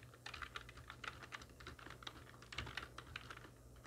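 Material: Plastic.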